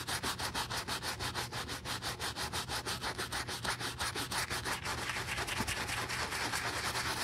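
A wooden-handled bristle brush vigorously scrubs the soap-lathered side of a hollow brown leather cowboy boot vamp. Fast, rhythmic wet brushing strokes give a bright, hissing scrub with a faint low hum underneath. The strokes blur into a denser, more continuous rub toward the end.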